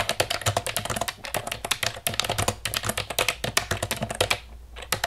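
Long nails tap fast on the keys of a hollow black plastic computer keyboard, giving a rapid run of about 34 sharp, bright clicks with almost no ring. The tapping stops briefly near the end, then a few final clicks follow.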